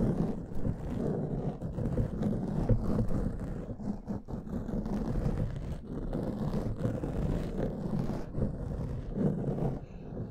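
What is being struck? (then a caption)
Foam microphone windscreen. Fingernails of both hands scratch a soft, porous black foam windscreen covering a large microphone. The result is a continuous, muffled, low rustling rumble with faint crackle and almost no high content, swelling and easing slightly throughout.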